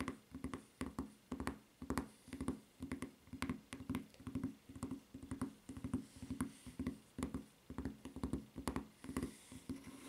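Long nails tap and scratch the footbed of a white rubber flip-flop with a red strap, then turn it over to its ridged sole. Quick, dry, muted taps with short scratching strokes between them repeat at a steady pace, with little ring after each hit.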